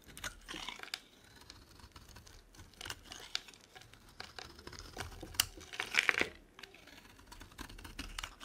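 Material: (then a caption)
Soap. A metal blade scrapes long curls off a dry, solid, oval light green soap bar held in the palm. The result is a series of dry, crisp scraping and crinkling strokes, bright and high in tone, with brief louder tearing scrapes near the end.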